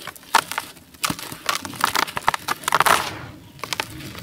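A solid, dry, gray-beige molded sand-cement chunk is broken and crushed by bare hands and fingertips in a basin. It gives a quick series of sharp, dry cracks and bright gritty crunches with soft crumbling between them, as the block falls apart into loose gritty powder.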